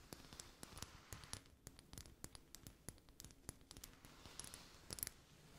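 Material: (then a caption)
Glass. A small amber glass dropper bottle with a gold metal collar and a white rubber bulb, filled with golden oil, is held in both hands and tapped with long manicured nails. The result is a quick, irregular run of soft, bright clicks and ticks, each dying away at once with no ring. A faint rustle sits beneath them.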